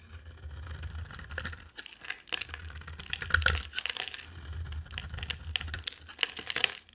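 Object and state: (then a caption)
Dry soap bar being carved. A box cutter blade shaves and scrapes curls off a dry, palm-sized orange Fa bar soap with a white core, held in one hand with long dark nails. Dense, crisp scraping and crackly ticks run throughout, bright and dry with almost no ring. A steady low hum sits underneath.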